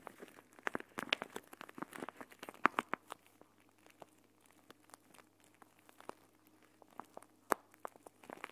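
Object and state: Plastic gel bead eye mask.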